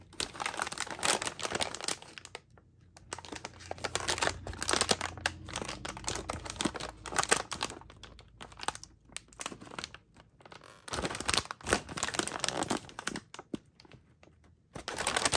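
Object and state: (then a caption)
Crinkled plastic foil snack bag. A medium, flexible, metallized plastic bag of Tao Kae Noi crispy seaweed, full of snack, is held in both hands with long matte nails, squeezed and crinkled, with some nail tapping on its surface. Dense, bright crackling crinkles come in bursts of varying loudness, broken by brief quieter pauses.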